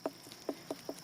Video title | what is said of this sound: An easy way to tell if your pumpkin is ripe | it sounds hollow that's pretty tough there it's pretty hard